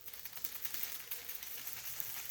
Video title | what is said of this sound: Rabbi Eric D Rosenstein - October 16, 2024 | you might just hear the sound of rain sticks